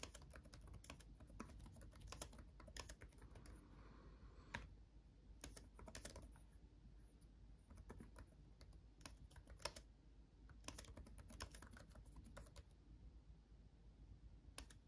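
Both hands type with their fingertips on a backlit laptop keyboard with plastic chiclet keys. Quiet, quick clicks and taps come in irregular bursts, each with a short, bright tick that stops almost at once, over a steady low hum.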